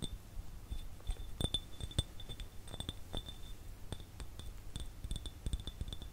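Fingernails tap an empty clear glass jar held close to the microphone in quick, irregular clicks. Each tap gives a short, bright glassy clink with a faint ring near 3.5 kHz, over a steady low rumble.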